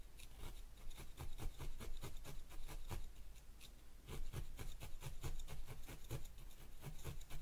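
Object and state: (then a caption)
Wool felt ball on foam pad. A thin felting needle repeatedly pokes a small yellow wool ball resting on a white foam pad. Each stab makes a quick, dry, scratchy crunch with a faint bright tick, in a steady irregular rhythm over a constant low hum.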